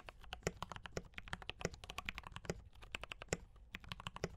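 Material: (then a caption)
Plastic. Fingertips of both hands type steadily on a D84 mechanical keyboard with brown switches and cream and red plastic keycaps. Rapid, short, dry keystrokes each pair a soft low thock with a bright clack. The irregular taps barely ring before the next one lands.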